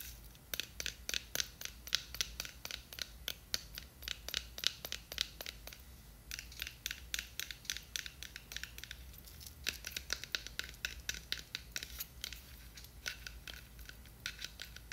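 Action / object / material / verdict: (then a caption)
scrape / small plastic jar with a glitter label / plastic / none. Long nails scratch and tap the blue glitter label and sides of a small, full, clear plastic jar with a white lid. A rapid, uneven series of crisp, bright clicks and scratchy rasps repeats throughout, each dying away almost instantly over a faint low hum. The sound stays quiet, with nearly all its energy in the high range.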